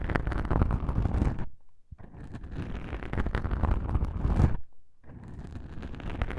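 Two small black soft, porous foam windscreens on a binaural microphone are pressed together and rubbed and scratched by one fingertip with a long pink nail. Close, dense scratching and crackling sits over a heavy low rumble from contact with the mic. The sound comes in three sustained passes separated by brief near-silent pauses.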